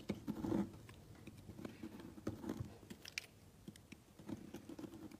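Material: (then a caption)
Soap. A utility knife slices a large, solid, cream-colored soap block into thin, flaky layers. Quiet, soft crackling scrapes and small dry ticks come in uneven bursts, with a fuller crunch near the start and scattered brighter crisp snaps.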